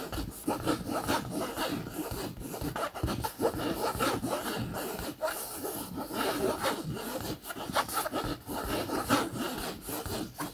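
A bare hand scratches and rubs the surface of a medium-sized, padded, soft backpack of green camouflage polyester fabric with a yellow-trimmed zipper, using fingertips and short nails. The result is a continuous, dry, rasping scrape, like sawing, with brief swells and dips throughout.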